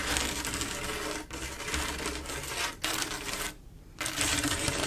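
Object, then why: Glass mosaic tile panel. Long acrylic nails tap rapidly across a large, solid, flat glass mosaic tile picture made of silver mirror-like tiles. The result is a dense, bright clatter of small clicks in steady bursts. Brief pauses break the bursts, with one longer near-silent gap before the tapping resumes.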